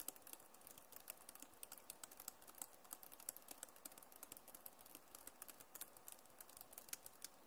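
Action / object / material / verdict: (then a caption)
tap / plastic laptop keyboard keys / plastic / none. Both hands type fast with fingertips and nails on a backlit Acer laptop keyboard with plastic keys. A quiet, steady stream of sharp, bright clicks and taps follows in quick succession, each dying away almost instantly, over a low soft background hiss.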